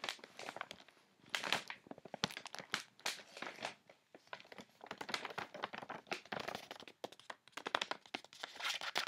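Fingertips and nails quickly scratch and tap the white paper wrapping of a medium-sized, flat MANGO clothing parcel with soft contents inside. The result is a dense, bright run of crinkling, crunching and papery scratches, with sharp clicky taps in short bursts and brief pauses between them.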